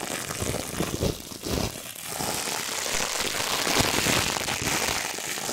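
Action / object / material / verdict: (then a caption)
scrape / thin plastic packaging film / plastic film / none. A thin, crumpled, iridescent holographic plastic packaging sheet is held in both hands and crinkled and squeezed with the fingertips close to the microphone. It makes a dense, bright crackling and rustling with a few louder bursts early on, then settles into a steady crinkle.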